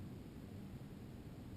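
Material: Nothing is struck.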